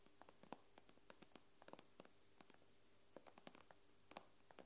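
Long nails quickly tap and scratch on the glass screen of an iPad. About twenty short, quiet clicks land irregularly over a faint, steady low hum. Each tap is dry, with brief bright ticks that stop almost instantly.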